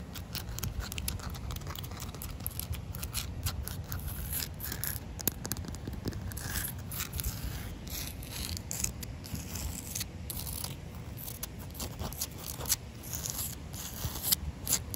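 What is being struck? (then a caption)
Concrete pavement slab. Short white-painted nails and fingertips scratch and tap on a solid, damp outdoor concrete pavement slab with an expansion joint. The result is a dense run of quick, dry scratches and light clicks with bright, high edges over a low rumble, with no ring after each touch.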